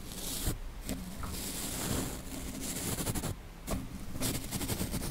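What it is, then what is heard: Metal mesh microphone grille brushed. A small flat paintbrush with yellow synthetic bristles brushes across the hollow, dome-shaped woven metal mesh grille of a Blue Yeti microphone. Close, scratchy bristle swishes with bright hiss ride over a heavy low rumble, broken by brief quieter pauses between strokes.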